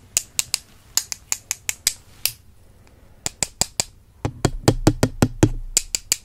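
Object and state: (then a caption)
Wooden brush handles tapped together. Two slim, solid wooden makeup brush handles, held with long purple nails, are tapped and crossed against each other in front of a microphone. Twenty-four sharp, dry, bright clicks with almost no ring come in uneven bursts, with a short pause after the first ten. The final ten taps land louder with a fuller, low, knocking body.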